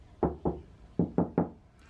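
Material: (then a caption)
Steel. Knuckle knocks on the steel side quarter panel of a Honda Prelude fitted with sound deadening, for comparison with an untreated car. Six short, dull thuds sit mostly in the low range and die away almost at once, with no metallic ring.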